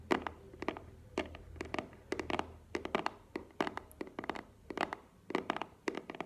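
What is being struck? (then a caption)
Small cardboard box. A small, hollow black cardboard earbuds box is held and tapped with long nails. Quick clusters of short, crisp clicks and hollow knocks with a mid-low body around 360 Hz and bright nail edges die away almost instantly, with a faint low hum underneath.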